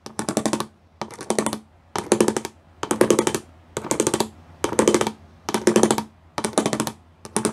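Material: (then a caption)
Plastic. Fingers and nails tap across a flat gray plastic sheet with raised studs. Quick runs of crisp, clicky taps come in short bursts with brief pauses between them, each burst bright and dry with almost no ring.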